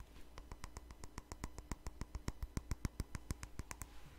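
Long fingernails tap and clink on a small, hollow, empty white ceramic cup, the same cup throughout. About 26 quick, sharp clicks come at a loose, uneven pace, each with a short bright ring that dies almost at once over a faint low hum.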